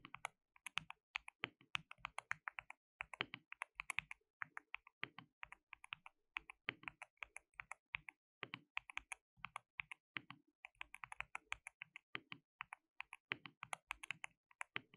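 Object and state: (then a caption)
Plastic mechanical keyboard. Both hands type continuously with their fingertips on a compact white-cased plastic mechanical keyboard with a hollow case, white and pink plastic keycaps and RGB backlight. The result is a steady stream of quiet, sharp, bright clacks with almost no ring and very little low end.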